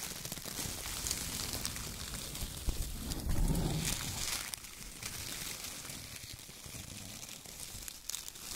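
Hands crumple bunches of brown shredded kraft paper strips in a loose pile, then press and rub the pile with their fingertips. Dense, steady crinkling and rustling fills the clip, with a fuller, louder crunch around the middle before it settles into softer scratchy rubbing.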